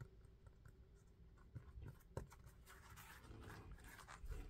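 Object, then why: Sneaker rubber outsole. Fingertips tap and scratch the tread of an orange knit sneaker held sole-up, its dark grey rubber outsole set with orange pads. The result is a quiet, dull run of scratchy rubs and soft taps, mostly low in pitch with very short decay.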